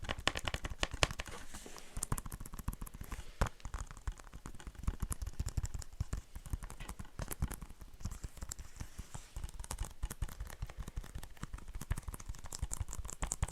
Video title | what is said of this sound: ASMR Blu-ray movie collection. Whispering and tapping | I don't think it makes that great tapping sounds cuz there's a little bit that kind of gives it a bit of ring to it